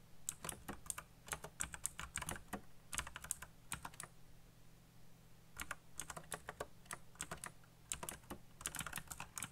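Fingertips type on a backlit black plastic mechanical keyboard with RGB lighting and hollow key switches. Quick bursts of sharp, bright clicks come in runs, with a pause in the middle, over a faint low hum.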